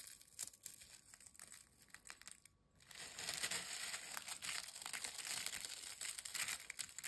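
Thin, dry, crisp potato chip pieces are crumbled between fingertips, giving sparse, bright crackles before a brief near-silent pause. The pile is then pressed by hand inside a glass bowl, producing a dense, louder run of high, crisp crunching and crinkling that continues to the end.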